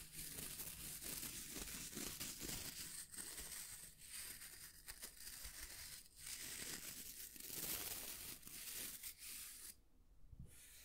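Fingertips scratch the natural bristles and wooden edge of a small oval hair brush with a wooden back, held in the hands. The result is a dense, bright, crackly scratching with soft rustling underneath that continues steadily. It cuts out briefly near the end, then resumes more quietly.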